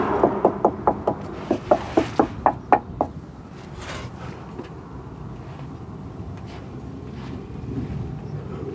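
Underbody steel on the passenger side of a 1985 Toyota MR2 is tapped 12 times in quick succession to check for rot, each tap giving a short, ringing metallic knock. The taps stop after about three seconds and only a low background hum remains. The steel sounds solid and unrotted, in better condition than expected for its age.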